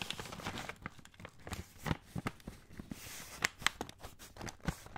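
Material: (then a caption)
Kraft paper. Fingertips rub and crinkle a full 500 g brown kraft paper pasta bag. The result is dry, papery crackling with a soft rustle beneath it, broken by sharp, bright snaps. Each snap cuts off at once, with no ring.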